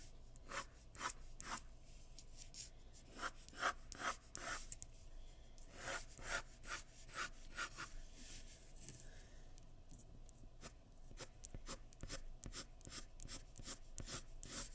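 A graphite pencil scratches long hair lines across a sheet of white drawing paper resting on a wooden surface. The clip is a quick, uneven run of short, bright, scratchy strokes over a faint steady low hum.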